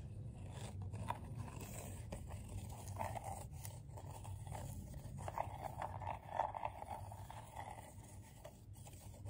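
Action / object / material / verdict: scrape / coiled paper bowl / paper / none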